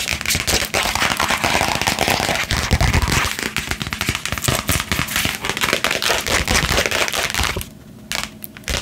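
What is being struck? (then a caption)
Printed cardboard box. A flat, hollow printed cardboard box held against the chest is tapped fast with long painted nails, giving a dense run of sharp, crackly taps with bright highs. The tapping stays busy for most of the clip, then drops to a quieter patch near the end before a few last taps.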